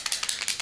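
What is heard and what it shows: An oil-based Sharpie paint pen is shaken before use, as its directions say, producing a quick series of bright, high-pitched rattling clicks with almost no low end.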